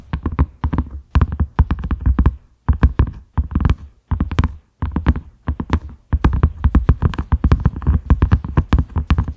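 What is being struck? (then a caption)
Silicone lid. A large round cream silicone lid with concentric ridges, a side handle and a grey knob, resting on a dark mat, is tapped with the fingertips and short nails of both hands. Quick bursts of soft, deep, muffled thuds with faint bright nail clicks come in rhythmic flurries separated by brief pauses, each tap dying away almost instantly.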